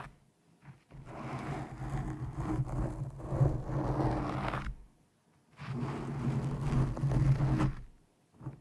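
A black foam windscreen over a microphone is pinched and scratched with long nails of both hands. Two long bursts of dense, rumbling scratching fill the low end with a rough, crackling texture, separated by a brief pause, with a faint short scratch at the very end.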